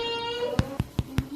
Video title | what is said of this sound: HOW TO MAKE AMISH WHITE BREAD - KITCHENAID PROLINE 7 QT - COOK WITH ME | it's Hollow on the bottom as well